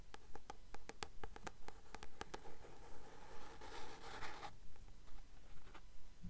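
Long nails tap steadily on the card cover of a blue paperback book held upright: fourteen quiet, crisp taps in an even rhythm, with a brief scratching rasp across the cover partway through.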